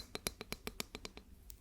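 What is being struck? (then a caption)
Plastic ruler. A plastic ruler is tapped about ten times in quick succession to show its sound in contrast with a wooden ruler. Each tap is a short, dry, bright click with a faint high ring that dies almost at once, with softer taps at the end.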